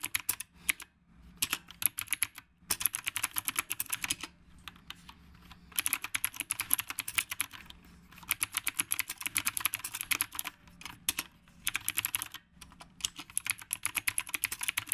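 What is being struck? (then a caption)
Mechanical keyboard with round plastic keycaps. Both hands type continuously with their fingertips on a black retro typewriter-style mechanical keyboard with round plastic keycaps. Bursts of rapid, bright, crisp clicks come with brief pauses between them. Each keystroke is sharp and dies away almost instantly.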